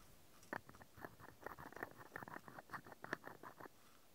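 A small, hollow, cream-painted wooden toy mascara tube with a dark ring at its open end is held in one hand while a fingertip and nail of the other hand rapidly tap and scratch its side. Quick, quiet, hollow wooden clicks and scratches patter unevenly in a dense run, each with a short, dry, mid-pitched knock and almost no ring.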